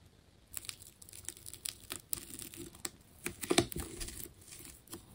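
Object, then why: Ball of layered plastic tape. A metal scalpel slices into a hand-held, fist-sized solid ball wound from many layers of colored plastic tape with a red outer layer, peeling the tape layers away. It makes quiet, crackly scraping and tearing sounds: a series of short, bright crinkling snaps and rips over a soft hiss, with the loudest tear near the end.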